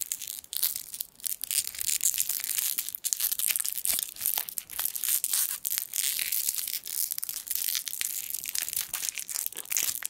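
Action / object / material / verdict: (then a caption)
scrape / foil sweet wrapper / metal foil / none. A small gold foil sweet wrapper is crinkled and twisted with the fingertips close to the microphone. The result is a dense, continuous run of sharp, bright crackles and crunches with almost no low end, each snap dying away instantly.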